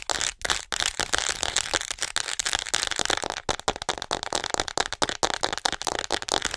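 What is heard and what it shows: Long acrylic nails tap fast and scratch on the upper body of a hollow white plastic acupuncture model doll held close to the mic. The result is a dense, rapid stream of dry, bright plastic clicks and rattly crackles with almost no low end and no ring after each hit.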